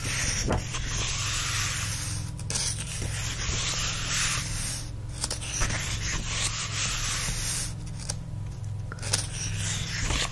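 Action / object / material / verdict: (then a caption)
scrape / paper book pages / paper / none. Fingertips rub and scratch across the printed paper pages of an open paperback-style book lying on a fluffy blanket. A continuous dry, papery rubbing hiss with bright high-end texture runs throughout, with brief pauses and a few light scratchy accents over a steady low hum.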